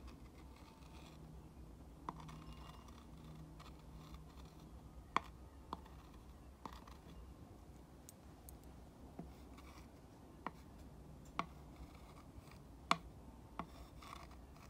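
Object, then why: Painted wooden slat sign traced with a glass rod. A glass rod tip is traced across the painted letters and grooved slats of a small sign made of three painted wooden slats, lying on a teal cushion. Soft, quiet scratching runs over a low steady hum, broken by about ten sharp, brief clicks with a bright edge as the tip crosses the grooves between the slats.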